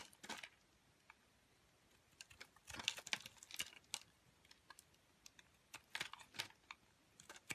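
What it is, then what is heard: Soap bar being shaved with a blade. A metal box-cutter blade repeatedly scrapes and shaves curls from the surface of a solid pink Palmolive soap bar held in the hand. The result is a quiet series of short, crisp, bright scraping bursts with almost no low end, separated by near silence.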